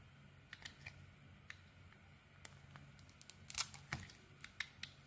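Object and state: Soap bar being shaved with a blade.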